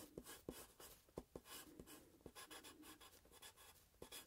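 A graphite pencil draws on a sheet of paper clipped to a grey plastic clipboard held at an angle. Quiet, bright scratching strokes are broken by short, sharp taps and clicks as the pencil lands and lifts, with a low hollow knock from the clipboard.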